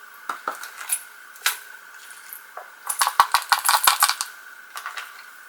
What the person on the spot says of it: it does kind of rattle when you shake it which is really cool